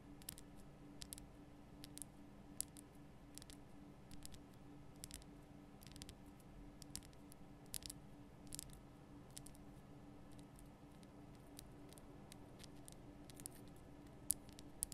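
Long painted nail tips tap on a large, solid, lit pink rock-salt Himalayan salt lamp. The result is a scattered series of quiet, sharp, bright clicks that die away instantly, over a steady low hum.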